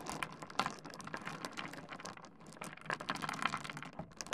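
Fingertips of both hands scratch and shuffle a pile of small solid stone pebbles on a wooden desk. The result is a quiet, steady stream of rapid, dry clicks and rattles. Each click is bright and dies away almost at once.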